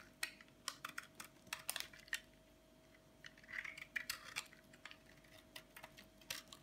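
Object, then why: Bar of soap scraped with a metal blade. A flat metal blade scrapes and shaves the edge of a hand-sized, solid white bar of dry soap held in one hand, so flakes fall onto a bed of colorful soap chips below. The sound is a quiet, irregular run of sharp, crisp, bright scratches and crackles that die away almost instantly, with a faint steady hum underneath.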